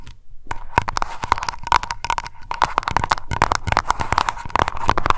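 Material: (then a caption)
Glass. Long nails tap fast on a small glass aroma candle jar labeled Lavender and filled with wax. The result is a rapid stream of short, dry clicks with a faint ringing tone near 1 kHz. The hits come too close together to count cleanly.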